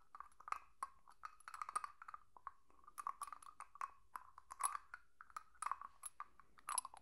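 A small, hollow, clear glass jar with a lid is held in one hand and tapped and scratched with long nails. The result is a quiet, irregular run of short, dry clicks and clinks centred in the midrange, with brief bright ticks and soft scraping between them.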